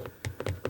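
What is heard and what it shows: Fingers knock and tap on the wooden, decorative presentation box of a Penhaligon's Changing Constance perfume, left closed. Five short, dull knocks sound, mostly low thuds with a faint mid-range click and almost no ring.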